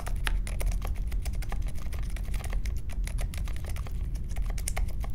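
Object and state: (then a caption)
Mechanical keyboard being typed on. Fast fingertip typing on a compact Polaris mechanical keyboard with Silent Alpaca switches, a metal case and plastic keycaps, resting on a marble desk. A dense, steady stream of soft, muted key clicks with short bright ticks rides over a low, thumpy body, each keystroke dying away almost instantly.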